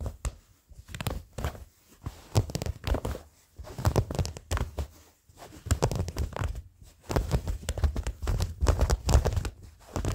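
Short fingernails scratch old blue cotton denim jeans, folded near the camera. Dry, rasping strokes come in quick bursts separated by brief pauses, with a heavy low rumble and a faint bright scratchy edge. Each stroke dies away almost at once.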